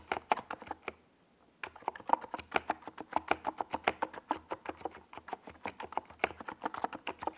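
Fingertips type continuously on a small 68-key NiZ Plum Atom 68 mechanical keyboard with a white plastic case and purple and yellow plastic Domikey Gas Attack SA keycaps, resting on a desk pad. About 40 short, crisp plastic clacks come in an uneven rhythm, with a brief pause near the one-second mark. The keystrokes have a hollow midrange tone with bright tops and die away almost instantly.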